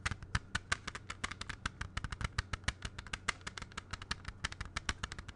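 A closed, clear plastic CD jewel case is held in both hands and tapped quickly with the fingertips. The result is a rapid, uneven stream of short, dry clicks with bright plastic ticks over soft low thumps, each dying away almost instantly.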